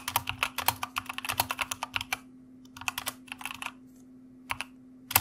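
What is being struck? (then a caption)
Plastic mechanical computer keyboard. Fingertips of both hands type on a white mechanical computer keyboard with plastic keycaps, producing rapid, bright, sharp clacks that stop almost instantly. A dense run of keystrokes gives way to shorter bursts and a few isolated taps, separated by pauses where only a faint steady low hum remains.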